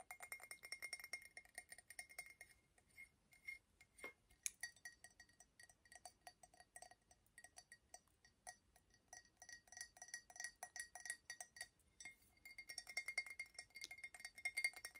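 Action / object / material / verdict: tap / glazed ceramic mug / ceramic / none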